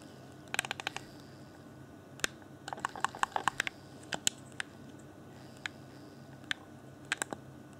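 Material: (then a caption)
Plastic. Fingertips tap the hollow shell of a hand-sized, transparent plastic Xbox controller with LED lighting, around the bumpers and face area, and press its buttons. The result is a scattered run of short, dry, bright clicks and taps with almost no ring, some in quick clusters and others spaced apart, over a quiet steady background.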